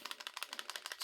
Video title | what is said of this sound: Sig Sauer P225 - Another Classic Sig | it's just a Rattle Trap man it's kind of embarrassing when you shake it like that